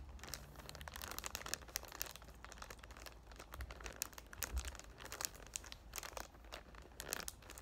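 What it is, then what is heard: Cellophane wrap on a cardboard box. Fingertips and short painted nails rub and crinkle the clear cellophane wrap near the top of a palm-sized cardboard box for the "Thank U Next" perfume, held up in the hand. Dense, bright crinkling and crackling fills the clip in quick, dry bursts over a steady low hum, with no ring after each crackle.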